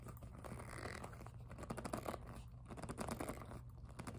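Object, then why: PVC jelly plastic handbag. Long nails scratch and tap the front of a hollow, glossy pink jelly PVC handbag. The result is a steady, dense stream of dry scratching and crinkly scraping over a low hum, with soft plastic taps scattered throughout.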